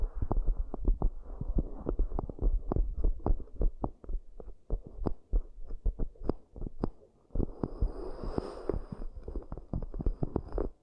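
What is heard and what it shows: Long nails tap and scratch the outer walls and rims of two identical round, hollow, empty cork coaster bowls. A rapid run of soft, muffled, deep thuds dies away almost instantly, with a short pause before the second half. There, a grainy scratching texture joins the taps, with a faint bright hiss above.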